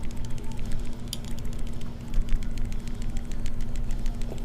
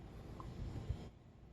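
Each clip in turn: First: loose rattling camera module in a phone. Second: smartphone that does not rattle when shaken.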